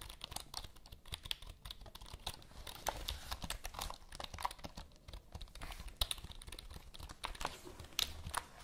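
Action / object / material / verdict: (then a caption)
tap / plastic computer keyboard / plastic / none. Long nails and fingertips tap and press the keys of a full-size black plastic computer keyboard with a hollow body, held in both hands. The result is a steady stream of quick, dry, clicky taps with bright high clatter and a low hollow thump under them. Louder clacks stand out here and there.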